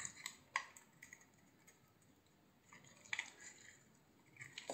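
A hand-sized solid green bar of soap, held in the palm, is shaved into curls with a utility knife. The result is quiet, bright, crisp scraping and ticking sounds that decay quickly, with pauses between cuts and almost no low end.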